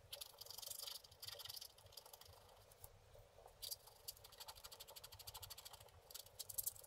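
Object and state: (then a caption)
Scratch-art paper card. A wooden scratch stylus held in the fingers scrapes the black wax coating off a flat, solid scratch-art board of about book-page size, with a printed colour layer beneath, lying flat on a table. The quiet, dry, high-pitched scratching comes in bursts of quick strokes, with short pauses and a soft hiss between them.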